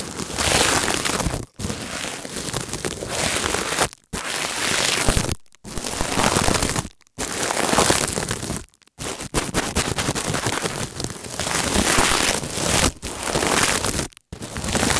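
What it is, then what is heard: Stainless steel scouring pad. Fingertips press, squeeze and rub a palm-sized coiled stainless-steel wire scouring pad against taped bubble wrap, recorded close up on an earphone mic. Long bursts of dense, bright crinkling and scratchy crackle fill the whole range, broken by several short silent pauses between strokes.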